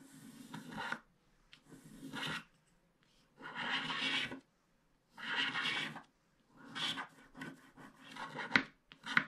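A pointed wooden stick scratches the black wax coating off a small, flat paper scratch art card. It makes a series of dry, rasping scratches with pauses between strokes, bright and papery with little low end. Short, sharper ticks come near the end.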